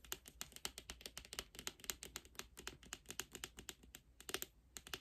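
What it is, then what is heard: Cardboard album box tapped with nails. Long glossy nails tap rapidly on the front cover of a large, hollow, lime-green rigid cardboard K-pop album box held upright. The result is a fast, uneven stream of dozens of dry, bright clicks with almost no ring, like light typing on a keyboard.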